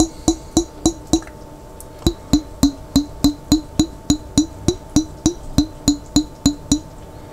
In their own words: ASMR Tapping On A Jar With Water